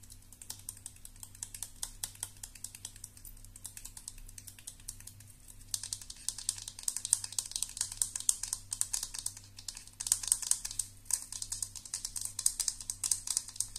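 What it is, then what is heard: Metal-barrel round hairbrush. A round thermal hairbrush, with a hollow perforated silver metal barrel, nylon bristles and a black plastic end cap, is tapped on its end cap and barrel with long nails. The result is a dense run of quick, crisp, bright clicks with no ring. The tapping gets louder and busier around the sixth and tenth seconds over a faint low hum.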